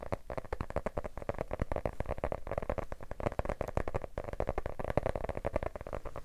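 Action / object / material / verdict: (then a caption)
tap / hardcover book with cardboard cover / cardboard / none. A medium yellow hardcover book with a paper/cardboard cover, solid and held upright in both hands, is tapped rapidly on the cover with fingertips and short nails. The result is a fast, continuous run of short, dull, hollow taps with a mid-pitched resonance around 590 Hz and little high-frequency content.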